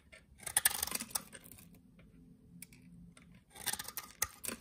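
A solid rectangular green soap bar held in the hand is cut with a utility knife blade into small cubes and shavings. Crisp, bright scraping and snapping clicks come in clusters at the start and end, with a quieter stretch of soft scraping in between.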